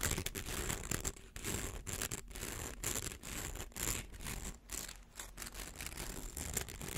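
A hollow, rainbow-colored plastic slinky coil toy is held between the hands while fingernails scratch and rub along its ridged edge. The result is a dense, irregular run of dry, raspy scratching and crackling that is bright across the highs and quickly damped, with short pauses where the rubbing briefly lets up.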